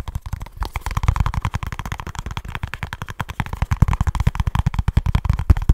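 A small kraft cardboard product box, held in both hands, is tapped quickly with the fingertips and scratched with the nails. The result is a rapid, continuous stream of short, dull, low thumps with almost no ring, and a faint papery scratch between the taps.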